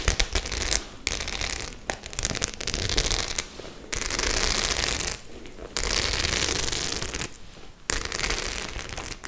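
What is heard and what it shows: Long nails scratch and tap across the small metal studs of a white faux leather clutch held upright. Dense, bright crackling scrapes come in bursts, broken by sharp clicks and short quiet gaps.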